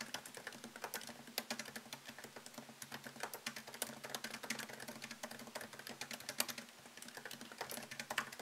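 Fingertips type quickly on a MacBook Pro keyboard, whose low-profile plastic keys sit in a thin solid aluminum chassis. The result is a dense run of short, bright, crisp clicks with almost no ring, over a faint steady low hum.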